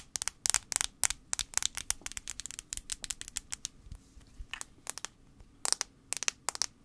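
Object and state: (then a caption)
Plastic phone back tapped with fingernails. A fingernail taps quickly on the plastic back of an iPhone 5c in irregular bursts, around thirty taps in all with a brief lull near the middle. Each tap is a dry, bright click with almost no low end and no ring.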